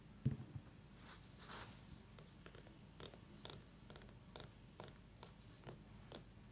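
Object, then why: Small whole pumpkin. Long nails tap around the stem of a small whole orange pumpkin, then tap it again while it is lifted and held. The result is a quiet series of soft, dull, low thuds, each with a faint bright click, that die away almost at once.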